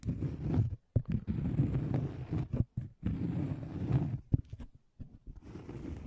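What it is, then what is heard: Cork coaster. Fingertips scratch and tap a thin, solid, round cork coaster held beside and in front of the microphone. Dull, low scratching comes in bursts separated by short silences, with a few sharper taps standing out. The sound stays muffled and bassy, with little brightness and no ring after each tap.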